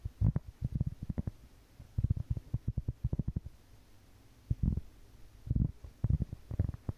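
A large, round, solid cork board held at the edge is tapped and scratched with long painted fingernails. Quick bursts of soft, dull, low taps come in clusters separated by short quiet pauses, with faint scratching in between. Each tap dies away almost instantly.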